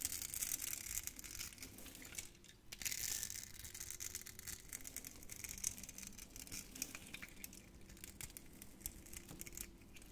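A utility knife blade scrapes across a solid, hand-sized, grid-scored red-pink soap bar, breaking off crunchy cubes. The result is a steady stream of bright, dry crunching and crackling with sharp high-pitched snaps and a brief quieter pause early on.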